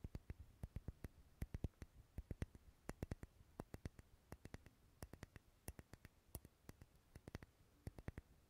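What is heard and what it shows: Long fingernails tap and scratch along the side of a solid purple wax pillar candle. A quiet, steady run of many short, dry clicking taps follows, each stopping almost instantly. Faint scratchy rustling fills the gaps over a low, soft background.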